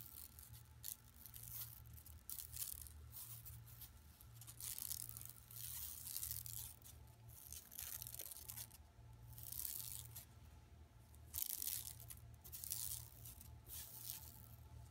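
Long nails scratch across an empty, flat yellow woven plastic mesh tote bag lying on carpet. Bright, dry rasping bursts swell and fade in repeated waves over a steady low hum.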